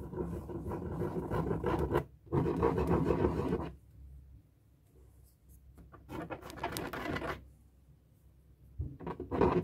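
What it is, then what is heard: Marker scribbling on a latex balloon. A felt-tip marker draws circular scribbles on the rubber surface of a hollow, inflated light blue latex balloon. The result is a dry, squeaky, scratching rub with low-mid body, coming in long strokes separated by quieter pauses.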